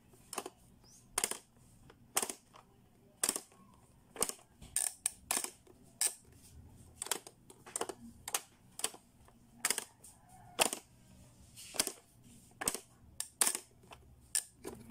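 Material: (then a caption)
Plastic. Fingertips press and slide the plastic buttons and switches on a hollow, toddler-sized blue hard-plastic Playskool pop-up toy, making its spring-loaded lids click and pop open. The result is a steady, irregular series of sharp, bright plastic clicks and snaps that die away almost instantly, with a faint low hum in the quiet gaps between them.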